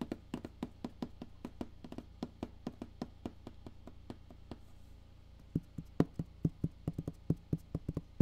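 Fingertips tap the side and top of a black printed Solid State Logic cardboard box, producing 38 short, dull, low thuds with almost no ring. The taps come in a quick, uneven stream, pause briefly past the midpoint, then resume louder and hollower.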